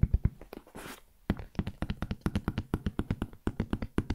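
Fingertips tap the surface of a large, hollow, black JBL hard-shell headphone case, making quick, dull, low thuds with almost no ring. A few opening taps give way to a brief soft scratchy rustle, then a steady rhythmic run of tapping continues to the end.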